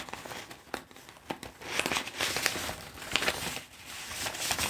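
A large, thin Globe & Mail newsprint newspaper is held up and lowered onto a table while fingertips grip, flip and crinkle its pages. The result is a bright, dry rustling and crinkling with sharp crackles, concentrated in the high range with almost no low end.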